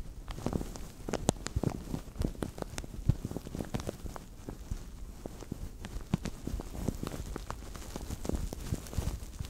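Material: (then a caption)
Plastic. A translucent thin plastic bag over a microphone is squeezed and crinkled with both hands. The result is a dense run of short, sharp crackles and pops with a boomy low thump from the covered microphone, and no voice.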